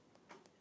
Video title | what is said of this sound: Matte on Gloss - Neon Aztec on Black Acrylic and Gel Nail Art Design Tutorial | wydaje głuchy dźwięk, znaczy że jeszcze nie jest gotowy